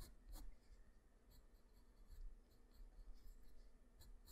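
The graphite tip of a black wooden pencil, held in the fingers, draws across a flat sheet of white drawing paper in many quick scratching strokes. The scratches are quiet, soft and dry, with faint bright ticks over a low, steady rumble.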